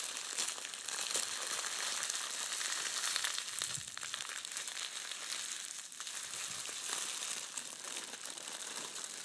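Shiny red metallic foil gift wrap, crushed into a small ball, is squeezed and crinkled between both hands. It makes a steady, dense crackling crinkle that is bright and high, with fast irregular snaps and almost no low end.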